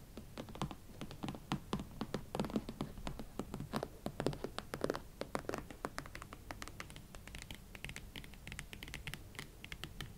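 Long nails scratch and tap a pair of hot pink leather Valentino Club Platform boots, working over the shafts and the tops of the thick hollow platform soles. Many quick, dry taps and scratchy strokes sound at a steady, soft level, each with a muted low thump and almost no ring.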